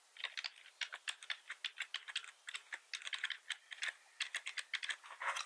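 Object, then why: Plastic computer keyboard. Both hands tap with their fingertips across a black plastic computer keyboard with red accent keys, producing about 29 quick, dry, bright clicks at an uneven typing pace. Each keystroke dies away almost instantly, with no low thump beneath the sharp plastic clatter.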